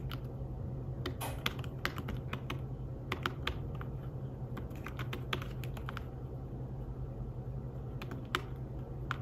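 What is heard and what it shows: Fingertips tap the keys of a slim fabric-covered tablet keyboard in steady typing. Soft, muted key taps come in irregular bursts with brief bright clicks, over a constant low hum.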